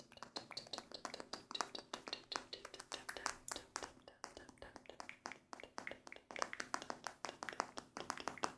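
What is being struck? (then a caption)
Denim shorts waistband. Fingertips and nails of both hands rapidly scratch and tap the front waistband of light-wash denim shorts being worn. The result is a steady stream of quick, dry, bright clicks and scratchy rasps with almost no ring or low end.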